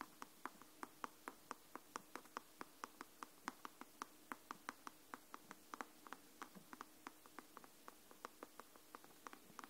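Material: Paper, cardboard.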